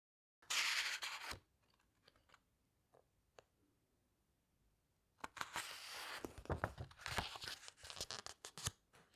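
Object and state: Hardcover book pages.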